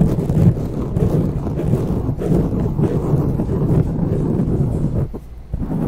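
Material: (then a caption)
Foam. Long natural fingernails and fingertips of both hands scratch and rub a soft, porous dark grey foam windscreen on a silver condenser microphone. The result is a dense, steady, low, muffled rumbling scrape with almost no high end, dipping briefly near the end before resuming.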